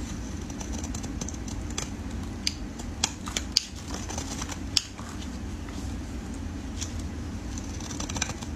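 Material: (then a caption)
Soap. A solid red soap bar, held in gloved fingers, is cut into flakes with a metal utility blade. Short, crisp scraping clicks with bright high edges ring out over a steady low rumble, with a few louder snaps standing out.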